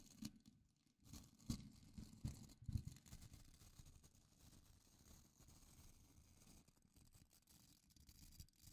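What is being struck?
Plastic scrub brush with nylon bristles.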